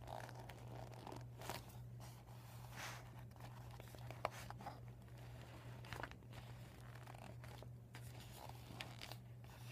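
Fingers and nails crinkle and scratch a deflated PVC vinyl beach ball with white and blue panels, lying flat and empty. Quiet bursts of crisp plastic crinkling and scratching, with a few sharper clicks, sit over a steady low hum throughout.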